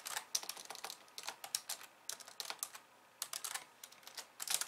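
Long nails type with both hands on a pink, slim plastic keyboard with white keys. Quick bursts of bright, crisp clicks come in uneven clusters with short pauses between them. Each click dies away almost instantly, with no low end.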